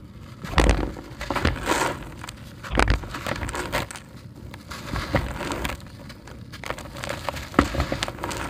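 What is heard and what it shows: A hand-sized, porous grey concrete brick, solid and dry, is held in one hand while the fingers of the other hand crumble and rub pieces off it. Irregular gritty crunches and crackles are heard as the grit falls into a tub of the same crushed concrete. The brick is crumbly.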